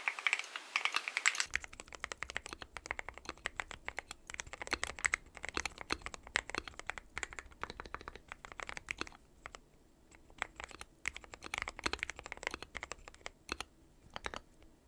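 Fingertips of both hands type continuously on a dark metal-cased mechanical keyboard with white and pastel plastic keycaps. The result is a steady stream of bright, clicky taps that stop short, with the first second or so busier and brighter. A faint low hum runs underneath for the rest of the clip.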